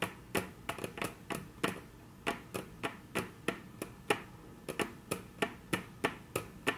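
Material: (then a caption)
Wood. Very long natural nail tips tap on a flat, solid, dark brown wood-grain tabletop. There are 22 short, dry, bright clicks at an uneven pace with almost no ring.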